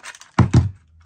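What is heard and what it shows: A loose battery pack on a counterfeit copy of a Makita TD173 impact driver is shaken, and it rattles around. Unlike on the genuine tool, whose battery connectors have neoprene bushes, it gives two strong, dull low knocks after a couple of faint lighter rattles.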